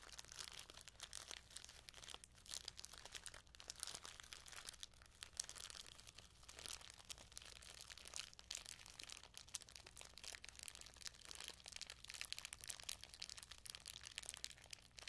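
A small clear plastic bag full of shiny sequins is squeezed and crinkled between both hands with long nails, the sequins shifting inside. The result is a quiet, continuous stream of bright, dense crinkling and rustling with tiny crisp clicks, over a faint steady low hum.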